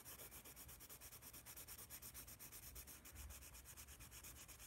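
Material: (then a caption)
Paper. A yellow wooden pencil shades and scratches with rapid strokes across a large white paper sketch pad held upright. About 34 quick, steady strokes make a dry, bright, scratchy rubbing over a soft low rumble, at an even, quiet level throughout.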